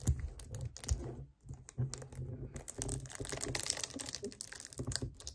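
A hollow 1 L white plastic kefir jug standing upright on a table is gripped and tapped on its front with fingernails. Quick, dry clicking taps mix with crinkly gripping and grasping sounds over a low, hollow plastic thump. Each tap dies away almost instantly.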